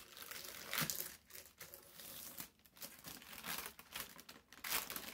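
Fingertips press, smooth and fold a corner of a large, thin, crumpled sheet of brown parchment baking paper lying on a table. The paper gives off soft, bright crinkling and crackling, swelling in bursts and easing between them.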